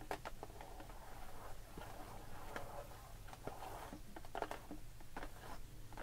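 Long pink nails scratch and tap the clear plastic bubble of a blister package of pearl beads with a cardboard label, resting on a wooden table. The result is a quiet run of short, dry clicks and soft scratchy crinkles that die away almost at once, over a steady low background hum.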